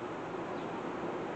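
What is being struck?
Nothing is struck.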